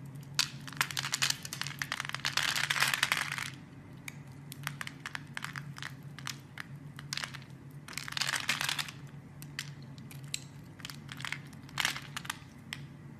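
A blade scrapes small cubes off a solid, opaque, hand-sized pink bar of soap scored in a grid, held by fingers with dark red nails, and the cubes pile up beside it. Dense bursts of bright, crisp crackling and crumbling alternate with scattered sharp clicks over a steady low hum. The loudest runs of scraping come at the start and again about two-thirds of the way through.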